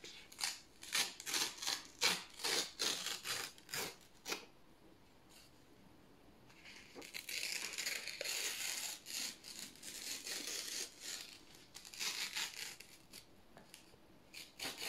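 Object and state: Thin paper being torn.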